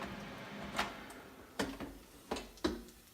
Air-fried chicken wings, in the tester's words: You can hear tapping on it, nice and crispy.